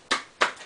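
Three hard taps on a very thick wooden chopping board, about 2 to 3 inches deep, struck as hard as thinner boards, give short, dull, damped knocks centred in the midrange with no low thud and a quick decay; the last tap is cut off at the end. The board makes hardly any sound because its great thickness and large area damp the thud.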